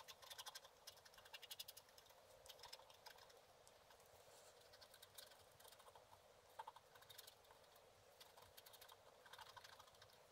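A wooden stylus is scratched repeatedly across a thin, solid, black-coated scratch art card lying flat. The result is quiet, dry, bright scratching in quick clustered strokes with almost no low end, each stroke stopping short with no ring.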